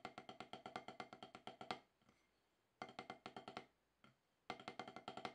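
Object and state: Rubber drum practice pad.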